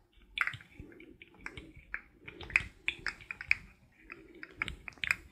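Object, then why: Hollow plastic segmented fidget toy. Fingertips and nails tap and click along a rainbow-colored, forearm-length articulated plastic fidget toy made of many hollow ring segments as it bends. The result is an irregular series of sharp, bright plastic clicks and light taps that die away almost instantly, with little low end.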